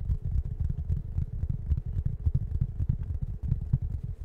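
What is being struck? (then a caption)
Waffle-textured fabric foam cushion. A large round plush waffle-shaped foam cushion with a soft fabric surface is rubbed and scratched with fingertips close to the microphone. The result is a continuous deep, muffled rumbling scratch made of rapid short strokes, with almost all energy in the low range and no high tones.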